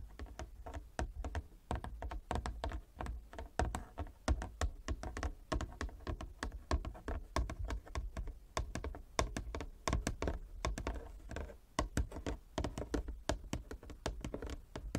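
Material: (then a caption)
Wood. Long fingernails tap rapidly and continuously near the far edge of a large inlaid wooden chess board. The taps are short, dry clicks with a low, woody thump and very little ring, rising and falling in a steady flurry throughout.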